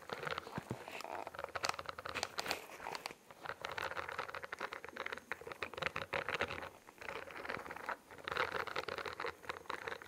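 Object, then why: Spiral notebook with bumpy plastic cover. Long nails tap and scratch across the bumpy, studded iridescent plastic cover of a solid, hand-sized spiral-bound notebook held close to the mic. The result is a dense, crinkly patter of quick, dry clicks and scrapes that continues throughout, dipping briefly around the 3, 7 and 8 second marks.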